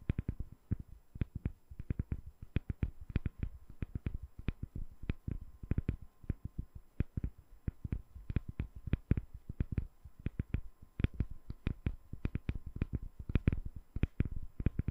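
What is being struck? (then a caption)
Glycerin soap bar. A translucent, palm-sized solid glycerin soap bar with colored spheres embedded inside is tapped rapidly with long nails. A quick, uneven stream of short, dull taps follows, each a soft low thump with a faint clicky edge that dies away almost instantly. The tapping stays quiet and steady throughout.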